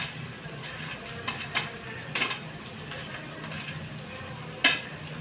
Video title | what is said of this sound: upvasala banva garam garam sabudana vade | वरून जरी फेकल्यासारखा केला तरी, वरून पाडला आपण तरी कडक आवाज येतो, म्हणजे कडक होतात.